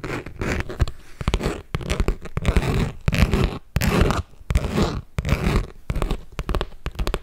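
Long nails tap and scratch a medium red glossy leather Michael Kors handbag with top handles and metal hardware, held up and hollow. Quick, irregular bursts of dry, crackly scratching and soft thumping taps fill the clip, mostly low and dull with little brightness and almost no ring.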